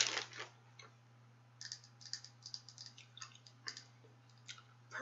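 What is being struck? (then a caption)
Small plastic compact case. A small, round, hollow purple-red plastic makeup compact is held close in both hands and tapped with long acrylic nails. The result is a run of quick, bright, dry clicks with almost no ring, over a faint low steady hum.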